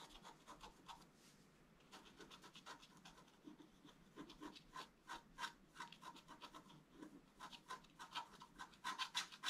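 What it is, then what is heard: Scratch-art paper sheet being scratched. A thin wooden stylus held in the fingers scratches a flat black-coated scratch-art card, an A4-sized book page lying on a cloth. Quiet, bright, dry scratching strokes come in an uneven rapid rhythm, growing louder and sharper toward the end.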